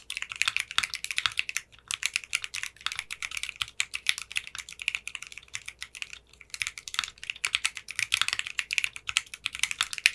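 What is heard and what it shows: Fingertips with short manicured nails type steadily on a 60% mechanical keyboard with clear pink polycarbonate keycaps. The result is a dense run of sharp, bright keystroke clacks with almost no low end, broken by brief pauses near 1.7 and 6.5 seconds.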